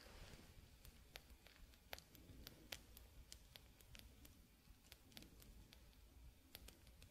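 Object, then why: Glass hourglass. A glass hourglass with white sand, its thin hollow glass bulbs held in both hands with sand flowing into the lower bulb, is tapped on the glass with fingertips and nails. A steady series of quiet, sharp, bright clicks sounds over a soft low rumble and hiss, each tap dying away almost instantly.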